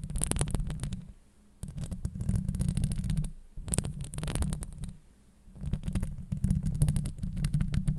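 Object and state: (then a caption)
Metal mesh microphone grille being scratched. Long acrylic nails scratch the hollow steel mesh grille of a Blue Yeti microphone in four bursts separated by short quiet gaps. Each burst is a dense, boomy, low rumbling scrape with rapid crackling ticks and a faint bright hiss on top.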